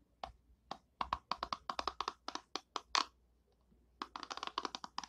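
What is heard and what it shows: A long nail flicks and scratches the white pin bristles of an oval orange and purple plastic hairbrush. The result is a run of short, sharp, bright plastic ticks that die away almost instantly, then a pause, then a quicker burst of flicks.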